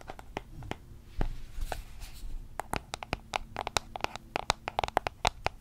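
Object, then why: Small cardboard box. A small, closed white cardboard product box, likely empty or light, is held in both hands near the mic and tapped and scratched with long manicured nails. Soft scratching and rustling in the first half give way to a rapid series of sharp, dry, bright taps that stop instantly without ringing.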